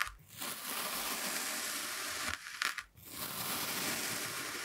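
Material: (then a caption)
Kinetic sand. A steel kitchen knife presses down through a solid, hand-sized brown kinetic sand block shaped like a cat face with yellow sand eyes, sitting on a white surface, making repeated parallel cuts. A dense, bright, gritty crunching and scraping runs through the clip, broken by a brief dip in loudness near the start and a sharper pause just before the three-second mark before the steady crunch resumes.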